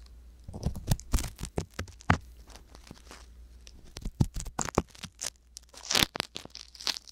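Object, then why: Silicone microphone ear scraped with a metal-tipped ear pick. The metal tip of a wooden ear pick scrapes inside the ear canal of a soft silicone ear mounted on a white box binaural microphone. Close, dry crackling and crunchy scratches come in quick irregular bursts, with sharper bright crinkles near the end, over a faint low hum.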